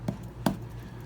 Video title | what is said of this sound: Homebound Science 1.2 | if we tap it, we get a hollow sound, which we do